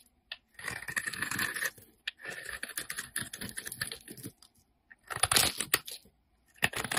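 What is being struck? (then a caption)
Bar of soap shaved with a knife blade. A solid peach-orange Lux bar soap, held in the hand, has its surface shaved into flakes with a utility knife blade. Dry, crackly scraping strokes come in several bursts separated by short pauses, each stroke a dense run of tiny bright ticks with little low end.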